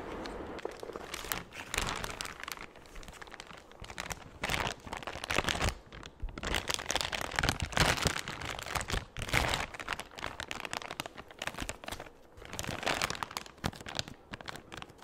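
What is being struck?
Thin clear plastic bag.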